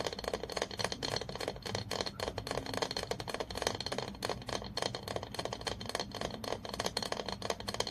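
A long fingernail taps rapidly and continuously on the body of an apparently empty glass olive oil bottle held in the hand. The taps are quick, clicky and glassy, with a short bright ring around 470 Hz and a steady, busy rhythm throughout.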